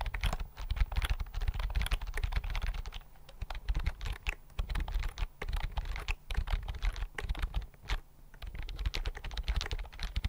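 Fingertips type on a thin white plastic keyboard with flat chiclet keys, held in both hands. Quick bursts of short, soft clicks with dull low thuds run through the clip, broken by brief pauses around 3, 5, 6 and 8 seconds.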